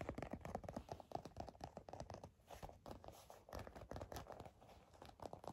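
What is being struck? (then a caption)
Leather bifold wallet. A black leather bifold wallet is scratched and tapped with long nails, giving a quick run of soft, dry taps and rasping scratches. Brief crinkly, crackling textures sit over a muted, low-mid body, and each hit dies away almost at once.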